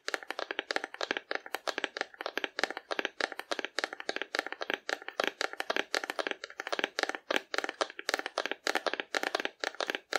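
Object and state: Cardboard dinosaur model tapped with nails.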